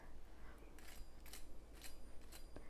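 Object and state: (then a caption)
Crispy fried onion fritter. A freshly fried onion pakora (kanda bhaji) in gram flour batter is handled, giving short, dry crackling crunches over a low steady hum. The crunches show it is perfect, nice and crispy.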